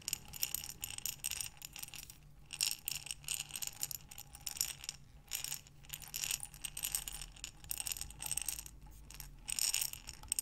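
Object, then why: Glass jar partly filled with small buttons. A clear glass mason-type jar with a metal lid, lying sideways and partly filled with many small buttons, is held in both hands with long dark-painted nails and tilted and rotated so the buttons shift inside. It makes quiet, bright, clicky rattling in uneven bursts, with short pauses between them. The clatter is dense and crisp, with no lingering ring.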